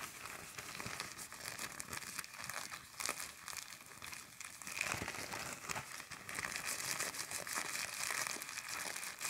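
A large, thin, empty black plastic garbage bag is crumpled and pulled by fingertips and long nails, ending with a folded edge held between the fingers. The film gives steady, bright crinkling with sharp tearing-like crackles and almost no low end.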